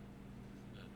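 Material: Nothing is struck.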